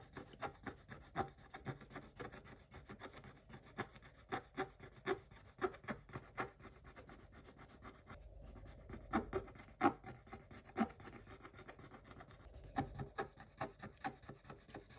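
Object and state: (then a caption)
Scratch-off coated paper page being scratched. The pointed tip of a wooden stick scratches across a flat, thin scratch-off coated paper page, scattering coating shavings. Dozens of short, dry scratching strokes come in quick succession, with a few louder strokes standing out, each a brief rasp with no ring.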